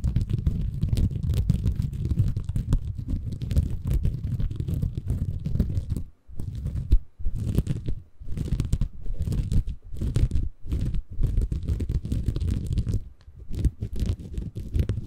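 Fingertips scratch and squeeze a small, soft, compressible green porous bamboo fiber sponge held in both hands above a Tascam recorder. The result is a dense, low, muffled crunching and rustling with brief pauses near 6, 7, 8, 10.5 and 13 seconds.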